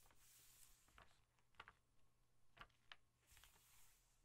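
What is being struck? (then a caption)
Glossy paper catalog page tapped with fingernails. Long painted nails tap the thin glossy paper pages of an open softcover National Geographic travel catalog held flat on a dark surface. The result is several quiet, sharp ticks with a papery mid-to-high edge that die away almost instantly, over a faint low hum and soft hiss.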